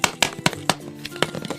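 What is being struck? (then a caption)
Plastic surprise egg container. A giant plastic surprise egg container is shaken with a Kinder Joy egg inside. About eight sharp, bright rattling knocks are heard, with a faint background tone between them.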